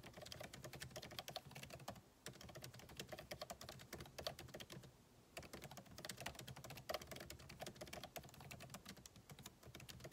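Fingertips of both hands type rapidly on a solid, backlit MacBook Pro keyboard with plastic keycaps in an aluminum body resting on a desk. Dense streams of short, crisp clicky key taps are heard, with brief pauses near the 2- and 5-second marks.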